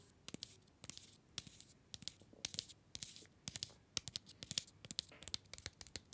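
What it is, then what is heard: Paper-wrapped mini chocolate bar. A small solid chocolate bar in an orange paper/card wrapper is held upright between the fingers and tapped and scratched with the fingernails of the other hand. Many quick, sharp, bright clicks and dry papery scratches come in irregular clusters, with soft crinkly rustling between them. The sound is quiet, with almost no low end and no ring after each tap.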